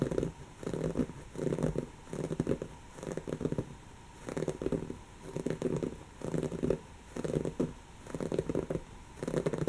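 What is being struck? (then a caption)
Woven fabric cushion. Long natural fingernails of one hand scratch and claw at a soft, stuffed, brown textured woven-fabric cushion. The result is repeated bursts of muffled, rough scratching with a low-mid, crinkly texture, separated by short pauses.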